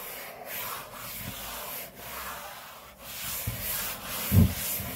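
An open palm and fingers rub and slide along a large, flat, solid grey laminate tabletop, making a steady, breathy swishing with low rumbling texture. Faint pauses and short strokes recur throughout, and a louder low thump near the end punctuates the rubbing.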